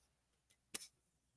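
A stone hexagon trinket box lid decorated with shells is tapped once, giving a short, bright click. The click dies away almost at once and sounds light, like plastic rather than stone.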